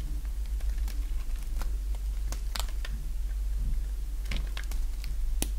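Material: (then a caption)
Soap. A small leftover piece of dry yellow bar soap, held in the fingers, is cut and scraped with a box-cutter blade. Short, sharp, bright scraping clicks come at irregular intervals over a steady low hum.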